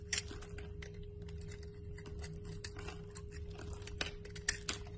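A utility knife blade scrapes and carves shavings off a solid rectangular cream-white bar of soap held in the palm, its surface already scored, leaving crumbling flakes. Quiet, crisp, bright scraping and flaking ticks with a few sharper snaps sit over a faint steady low hum.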